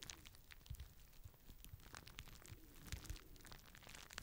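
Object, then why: Plastic bubble wrap sheet. A clear plastic bubble wrap sheet is worked by fingertips held low in front of the microphone at times, giving a quiet run of scattered pops and soft crinkling. The sharp pops carry a deep low thump and bright crackle and die away almost at once.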